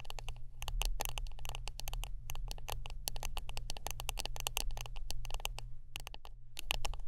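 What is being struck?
Wooden brush.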